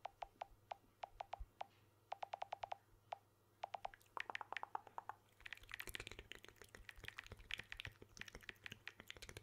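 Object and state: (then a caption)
Smartphone with glass back, tapped. Fingertips and short nails tap the glass back and edges of a blue smartphone with an aluminium frame, held upright in one hand close to the mic. Sparse, crisp clicks with a short tonal ring near 860 Hz come first in small clusters. They then speed up into dense, bright tapping and nail clicking that fills the second half.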